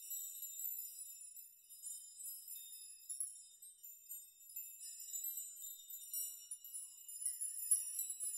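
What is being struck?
Hanging steel nail chime.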